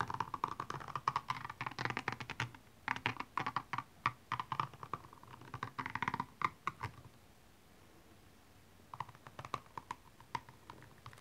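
A pointed makeup brush handle tip scratches across the small rhinestones covering a single hollow, empty blue high-heel shoe lying on its side. It makes rapid, dense bursts of bright clicking and ticking centered around 1 kHz. The bursts come in uneven runs that pause for about two seconds before sparser clicks resume.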